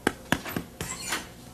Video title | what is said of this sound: Natalie's Kitchen with Chef Jasper White | listen for the hollow sound you know it's done